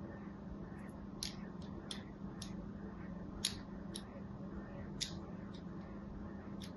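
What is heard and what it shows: A thin metal needle, held by fingers with pink nails, scratches and scores lines into a small, solid white embossed bar of soap held upright in one hand. Short, bright, crisp scraping strokes sound at irregular intervals over a quiet, steady low hum.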